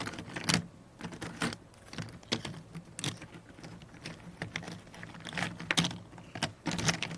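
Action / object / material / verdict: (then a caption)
scrape / cardboard jigsaw puzzle pieces on a cardboard tray / cardboard / none. A pile of small, thin, solid cardboard jigsaw puzzle pieces on a cardboard puzzle tray is shuffled and rubbed around by the fingertips of both hands, which have long painted nails. Quick, dry clicks and rustling scrapes come in bursts, with bright, brittle edges over a soft low rustle. Each tap dies away almost at once.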